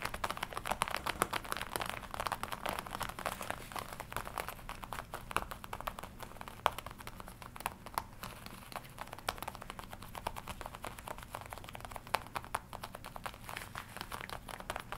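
Long nails tap and scratch across the chest and shoulder of a glossy black leather jacket worn on the body. The result is a quiet, steady stream of rapid, dry clicks and crinkly scrapes, with sharp ticks that stop almost instantly over a faint low hum.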